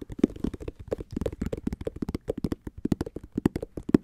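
Fingertips and nails scratch and tap across the solid treaded white rubber outsole of a Nike SB Dunk held flat. About 26 quick, dry taps and scrapes follow one another with no ring, each a dull low-mid thump, some with a brief bright click.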